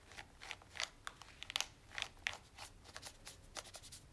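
A black plastic TV remote with rubber buttons, held in one hand, is rubbed and wiped with a cloth using the fingertips. Quiet, bright, crisp scratchy swipes and short crinkly bursts come in a quick irregular series, with almost no low end and no ring after each stroke.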